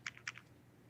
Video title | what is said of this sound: T.T.V. Show #353 "Well what do you think"??? | there's something loose inside the phone rattling it's not in the case